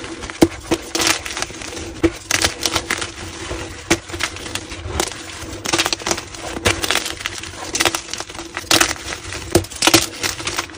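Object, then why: Block of gym chalk. Both hands squeeze and crush a solid, palm-sized white block of gym chalk (magnesium carbonate) until it crumbles into chunks and powder over a pile of chalk debris. The result is a dense, bright run of dry crunches and crackles, with sharp snapping bursts scattered over about eleven seconds and a faint steady hum underneath.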